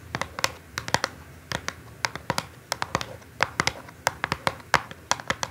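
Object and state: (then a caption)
Cardboard box tapped with nails. Long nails tap rapidly on the top face of a small, hollow, orange cardboard perfume box resting on a table. Irregular bursts of short, dry, bright clicks, some louder than others, have a papery midrange knock and almost no bass. Each tap dies away at once with no ring.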